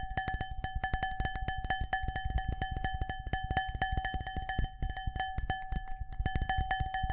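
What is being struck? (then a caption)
Glass bowl. A medium, clear cut-glass bowl, hollow and empty and held in one hand, is tapped fast with fingertips and nails. It makes a rapid, uneven run of bright clinks, each a short glassy ring pitched around 760 Hz with higher overtones above a dull knock from the fingers.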